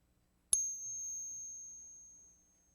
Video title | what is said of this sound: ~Authenticity Check~ Lot #1 ~ 10 1964 Silver Quarters Ping Test and Scale ~ | And I would say that these are all authentic 1964 American silver quarters.